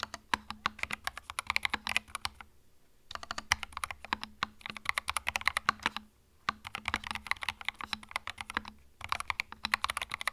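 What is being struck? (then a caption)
Plastic mechanical keyboard. Fingertips type on a small white 65% mechanical keyboard with plastic keycaps and a hollow plastic case, resting on a felt mat. Rapid, bright, clacky keystrokes come in bursts separated by short pauses, each click sharp and dying away almost instantly. A faint steady low hum sits underneath.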